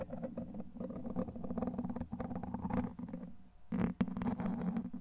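A clear plastic rod-shaped handle, held by the fingertips, is rubbed and scratched across the hollow domed steel wire-mesh grille of a large microphone. The result is a steady, dense, scratchy rasping with a heavy low body and a strong tone near 190 Hz. The sound dips briefly into a lull near 3.5 seconds, then returns in a louder, brighter burst around 4 seconds.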